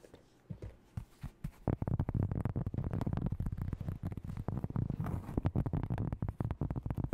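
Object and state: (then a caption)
Cork board disc. Long nails tap and scratch across the surface of a round, flat, plate-sized disc of solid cork. A few soft, scattered taps give way after about two seconds to a fast, chaotic run of dull, low thuds with scratchy texture. Each tap dies away almost instantly, with no ring and no bright edge.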